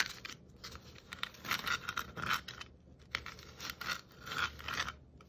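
Long nail tips tap and scrape across the shiny and glittery stripes of a hollow red and white striped plastic Christmas ornament ball. Quick, dry taps mix with bright, hissy scratching strokes that swell and fade in uneven bursts, with a faint thin ring near 1.5 kHz over a quiet background.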